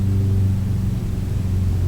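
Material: Nothing is struck.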